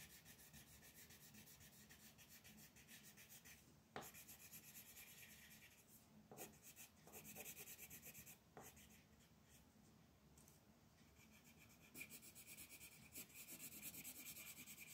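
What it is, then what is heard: Colored pencil shading on paper. A magenta wooden colored pencil is rubbed in shading strokes over a flat white paper mandala coloring sheet lying on a table. The result is a quiet, steady, rapid scratching with a bright, papery hiss, broken by a few sharper taps and shifts in stroke texture.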